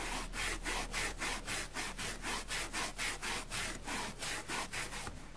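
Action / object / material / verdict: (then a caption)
scrape / foam sponge scraped with a bristle brush / foam / none. A dusty grey porous foam sponge block, held in one hand, is scraped firmly with a plastic spoolie brush. Quick, steady back-and-forth scratching strokes make a dry, rasping, bright sound with a mid-range edge near 1.8 kHz. The strokes repeat evenly for about five seconds.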